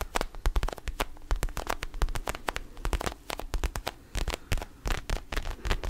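An orange mini rubber basketball with black seams is held in both hands close to the microphone while fingertips and nails tap and scratch its surface. Rapid, dry, clicky taps with a soft low thump come in quick uneven bursts, separated by faint scratchy rubbing.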